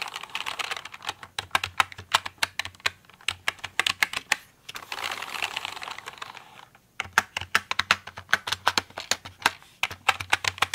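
Fingertips and long nails tap and type on a full-size pink plastic mechanical computer keyboard with pink keycaps lying in front of the mic. Rapid, bright, clicky keystrokes come in quick bursts, easing around the middle into a softer, steadier hiss of lighter tapping before crisp typing resumes. Each click is very short and dry, with almost no low end.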